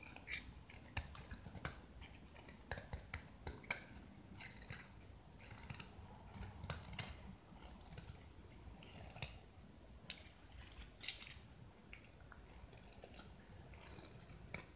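A utility knife blade scrapes and carves a hand-held solid white gypsum plaster brick with an orange and yellow painted face, shaving off crumbly flakes. Many short, bright scratchy strokes and crisp crunching snaps come in irregular bursts over a faint low rumble, and each dies away almost at once.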